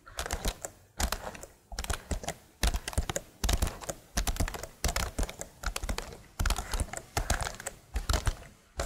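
Long nails tap and type on the keys of a tilted plastic laptop keyboard. Quick runs of crisp, bright clicks with soft low thumps come in short bursts separated by brief pauses.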